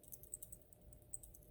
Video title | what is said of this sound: 2007 Honda Accord - AC System Diagnosis - Air Conditioning Relay Replacement | if you have a relay and you shake it and it makes sounds like that, it's garbage